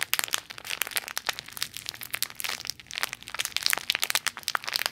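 A small clear plastic toy bag with a "nutty toys" label, hollow and full with a squishy toy inside, is crinkled and squeezed by fingertips with long nails. Dense, bright crackling and crinkling rattles on with many quick, sharp snaps and almost no low end, each snap dying away instantly.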